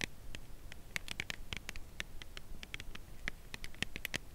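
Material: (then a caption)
Cardboard. Long nails tap and lightly scratch the narrow edge of a slim, full cardboard Lindt chocolate bar box held edge-on. A steady run of quick, dry clicks with bright, papery tops and no ring sits over faint scratching and a low background hum.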